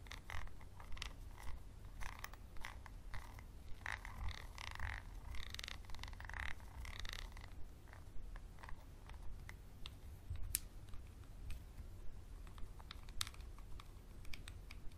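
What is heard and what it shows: A small textured glass bottle with a label, held close, is scratched and tapped with a wooden pencil. Quiet, dry clicks and raspy scrapes sit in the midrange, with occasional bright ticks, roughly once a second at an uneven pace. They ride over a steady low rumble throughout.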